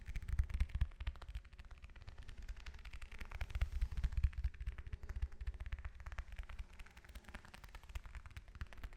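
An orange is tapped with fingers and nails, producing a quick, irregular run of soft, dull thuds. The taps are deep and muffled, with only faint bright clicks from the nails and almost no ring after each touch.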